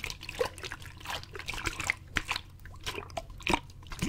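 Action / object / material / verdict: shake / plastic water bottle / plastic / none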